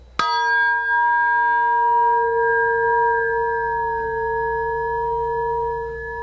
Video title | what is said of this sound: Polk Audio : technologie Dynamic Balance ! Cobrason | when aluminum resonates it does it with a Vengeance